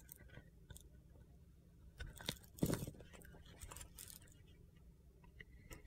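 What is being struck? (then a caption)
Soap bar with a glitter coating. A utility knife blade shaves the outer layer off a small, solid white soap bar coated in light blue glitter, held in the hand. Quiet, gritty scraping and carving strokes give a crunchy crackle with bright edges over a soft low rumble, peaking in a louder crunchy burst partway through.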